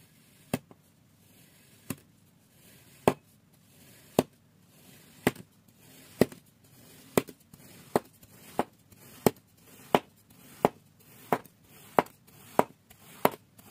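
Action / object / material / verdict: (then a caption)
scrape / kinetic sand block cut with a steel knife / kinetic sand / none. A thin steel knife blade presses down and drags through a flat, solid, oblong block of orange kinetic sand on a white surface, slicing it repeatedly into thin strips. About eighteen short, crisp crunching cuts are heard, spaced apart at first and then coming faster and more regularly, each dying away almost at once.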